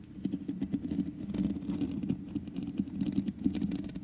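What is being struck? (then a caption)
Metal mesh microphone grille. Long nails on both hands scratch the sides of a black microphone's hollow metal mesh head grille, producing a dense, irregular patter of fast scratchy clicks and rasps. The sound has a close, low-mid body with faint bright edges and no clear pauses between strokes.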